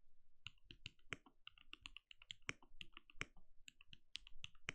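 A compact backlit mechanical keyboard with plastic keycaps and a translucent glowing case is typed on rapidly with the fingertips of both hands. Quick, dry key taps click in a steady flurry, with bright clacks over soft low thuds and almost no ring after each press.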